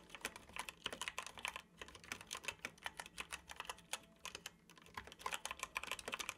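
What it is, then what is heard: Plastic computer keyboard. Fingertips of both hands tap the keys of a dark plastic computer keyboard while typing. Quick, bright, clicky keystrokes come in dense bursts, each dying away almost instantly, with a couple of brief pauses between runs.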